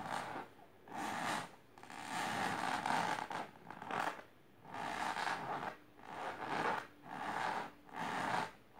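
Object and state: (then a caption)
Fabric-covered box scratched. Long silver-grey painted nails on both hands scratch fast and rub along a pink patterned fabric-covered box resting on purple cloth. Repeated bursts of dry, scratchy rasping each last under a second, concentrated in the mid range around 900 Hz with a bright hiss. Each burst is separated by brief near-silent gaps.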